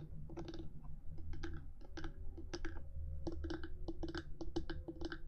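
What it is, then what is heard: Plastic microphone body tapped with fingernails. Long fingernails on both hands tap quickly across the top of the hard black plastic body of a 3Dio binaural microphone, set between its silicone ears. The result is a fast, uneven stream of dry, crisp clicks that die away almost instantly, over a steady low hum.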